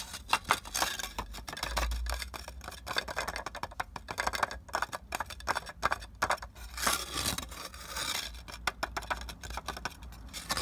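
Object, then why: Clay brick. Fingertips and nails scratch and tap fast across the rough, porous surface of a solid red clay brick lying outdoors on the ground. The result is a dense stream of dry, gritty scrapes and short, bright clicks that stop almost instantly, over a faint steady low hum.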